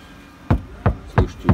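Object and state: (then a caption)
Car door panel damped, dull knock. Four knocks on the thin steel door panel of a Mercedes-Benz B200 after a first layer of vibration-damping material has been applied. Each knock is a short, low thud that dies away almost at once, sounding muffled and dull. The damped panel no longer rings.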